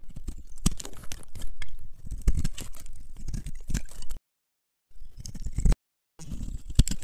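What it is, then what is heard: Dry bar soap. A small, solid green bar of dry soap is held in the hands and carved and scraped with a metal knife blade, shaving off flakes. Dense, crunchy cutting and scraping sounds come in quick bursts with a heavy low thump, broken by two short stretches of silence before the crunching resumes.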